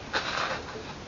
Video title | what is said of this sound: MGB Horn and Oil Change | I tapped on the oil pan. It sounds empty.